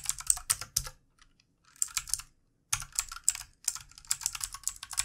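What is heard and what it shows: Fingertips of both hands type on a full-size backlit plastic mechanical computer keyboard with plastic keycaps. Bursts of quick, bright, clicky taps come in runs, broken by short pauses near one and two and a half seconds. The taps are sharp and dry with almost no ring and little low end.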